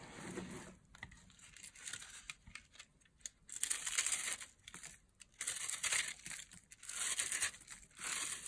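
Fingertips with long nails crush, rub and crumble pieces off a hand-sized solid block of dry, chalky white soap held over a pile of coloured soap crumbs, with a green-handled blade briefly in view. Dry, bright crinkling and crunching comes in bursts of varying loudness, separated by short quiet gaps, with almost no low end.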